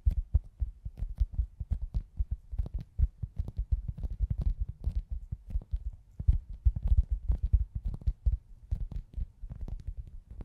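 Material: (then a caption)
Foam. A hand-sized, soft, solid foam pizza-slice squishy toy is held in both hands and tapped and scratched with long acrylic nails. The result is a fast, uneven stream of dull, muffled low thumps with almost no ring, and faint bright nail clicks and scratches over the top.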